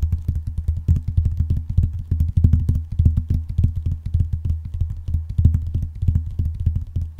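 Painted nails and fingertips tap rapidly on a closed blue vinyl binder, with both hands spread over the cover. The result is a steady, dense stream of short, deep, muffled thuds with a low resonant hum beneath and only faint clicky tops.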